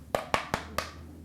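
A pen taps four times on a plaster of Paris slipper cast on a foot to check whether it has firmly set and hardened. Each tap is a short, dry, hollow knock with a bright mid-high tone around 1.1 kHz and almost no ring. The crisp, solid taps show the cast has set and hardened.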